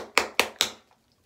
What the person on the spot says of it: you can hear it sloshing around